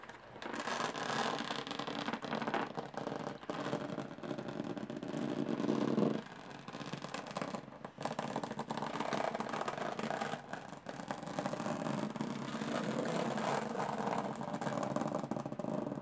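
Long painted fingernails scratch and tap across the textured, dotted metal lid of a small, closed, hollow aluminum carry case. The result is a dense, continuous run of rasping scrapes and quick taps with a hollow, metallic body. It eases briefly around the six-second mark and then picks up steadily again to the end.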